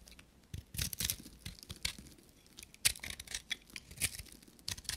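A knife blade scrapes and shaves a palm-sized, solid, dry soap bar with a copper-painted coating and a pale inside, sending crumbs falling. The sound is a quiet run of bright, crisp scraping and crumbly tearing strokes with short, dry bursts that die away at once.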